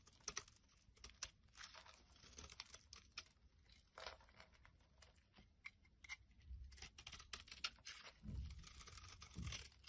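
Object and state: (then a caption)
Bar soap being shaved. A solid oval light blue soap bar with a ribbed edge is held in the hand while a utility blade shaves flakes off it. Quiet, dry scraping and crisp crackling cuts come in quick bursts, bright and short, with faint low rumbles beneath.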